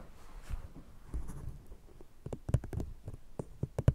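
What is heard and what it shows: An empty brown paper cup fitted over a fluffy microphone is scratched and then tapped with long painted nails of one hand, while a second cup on the other microphone is left untouched. Soft, muffled scratching and rubbing in the first half gives way to a series of sharp, irregular taps. Each tap lands as a deep, bassy thump that stops almost at once.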